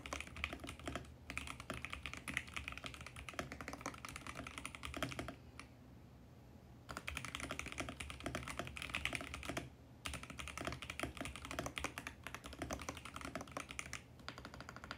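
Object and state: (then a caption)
Plastic mechanical keyboard. Both hands type rapidly with their fingertips on a VGN X68 compact mechanical keyboard with plastic keycaps and a mint plastic case. The result is a dense stream of short, bright plastic clicks and clacks over a faint low hum, with a clear pause around the six-second mark and a brief one near ten seconds.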